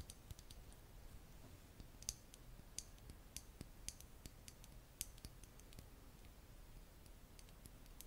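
Long nails tap the black plastic cap and the glass of a small glass nail polish bottle filled with red polish. About 25 sharp, bright clicks sound at an irregular pace over a low, steady hum, each dying away almost instantly.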